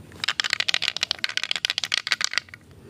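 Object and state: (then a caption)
Bamboo tube with loose stones rattling. A bamboo tube segment holding small "mustika bambu" stones is shaken, and the loose stones rattle inside it, as they did when it was shaken before being opened. The sound is a quick, dense run of bright, dry clicks concentrated in the high frequencies, with no ring after each hit, for about two seconds before it stops.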